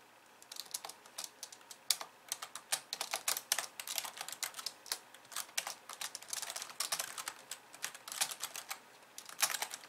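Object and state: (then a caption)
Plastic computer keyboard being typed on. Long nails tap rapidly across the white keys of a pink plastic computer keyboard resting on a wooden desk, typed with both hands. The result is a dense, uneven stream of about 55 short, bright, dry clicks with no low end.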